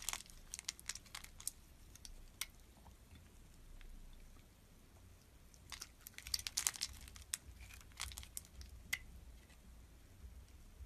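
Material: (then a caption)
Glycerin soap. A utility knife blade scores and shaves a hand-sized, solid red translucent glycerin soap bar held in the palm, and small cube chips fall off. Quiet, bright, crisp crackling scrapes come in irregular clusters over a low, steady hush, with the densest bursts near the start and around the middle to late section. Each scrape is short and dry, with almost no ring.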